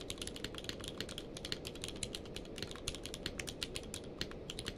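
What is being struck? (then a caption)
Plastic mechanical keyboard. A full-size mechanical keyboard with a blue-grey case and white and grey plastic keycaps, lying on a blanket, is typed on rapidly with the fingertips of both hands. About 35 quick, dry clicks sound in a steady stream, bright and short with almost no ring, over a soft low rumble.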